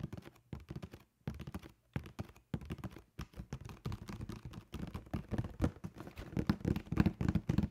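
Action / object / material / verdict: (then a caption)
tap / cardboard shoe box / cardboard / none. Fingertips tap rapidly on the face of a hollow black cardboard shoe box, then along its top edge. The result is a quick, irregular run of soft, dull, low thumps that die away almost at once, getting louder and denser toward the end.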